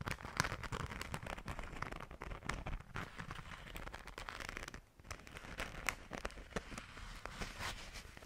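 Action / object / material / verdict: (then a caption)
scrape / glitter-coated fabric zipper pouch / glitter fabric / none. Long nails scratch the surface of a pink glitter-coated fabric zipper pouch held in both hands. The result is a dense, continuous crackling with many sharp, dry clicks over a low rustle, pausing briefly near the middle before resuming.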